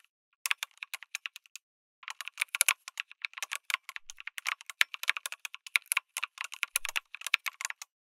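Fingertips type on a lit mechanical keyboard with an aluminum case and plastic keycaps. It makes a steady stream of sharp, bright clicky keystrokes with almost no low end, with a brief pause near the start before the typing resumes.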